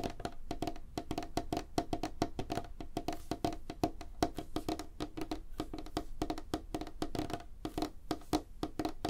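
Fingertips and nails of both hands tap fast on a solid, light wooden tabletop. The result is a dense, steady run of short, dry knocks with a woody tone around 310 Hz and almost no ring between strikes.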